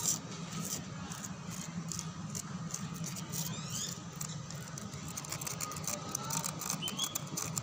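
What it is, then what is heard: Concrete lattice wall scratched. Fingertips and nails scratch a white, rough concrete lattice wall outdoors, making dense, bright scraping and ticking over a steady low hum.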